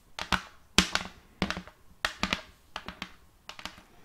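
A large, thin, solid round wooden serving plate, held upright in one hand, is tapped by the other hand's long painted acrylic nails in irregular clusters of quick taps, about 14 in all. Each tap is a sharp, bright click over a short, low wooden knock that dies away almost at once.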